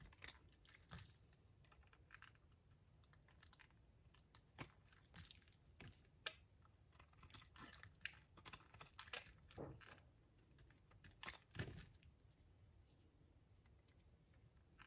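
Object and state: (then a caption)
Dry soap bar being shaved. A flat metal blade scrapes and shaves thin, brittle curls off the edge of a hand-held, solid, palm-sized, pale white-lilac bar of dried soap, with the shavings piling up below on a pink surface. The result is a quiet run of dry, crisp scraping crackles and sharp, bright clicks over a low, steady background hum.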